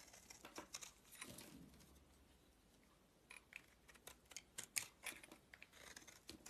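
A utility-knife blade carves and scrapes a solid white oval soap bar held in the palm, with shavings falling away. Quiet, bright, crisp scraping strokes and short clicking cuts come in bursts, with a softer lull near the start before the quick strokes resume.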